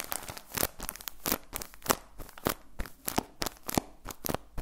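Hands squeeze and crinkle a clear plastic bag with orange print that is full of cotton balls. The result is a run of irregular, dry crinkling and crunching bursts with bright, crackly edges and soft rustle between them.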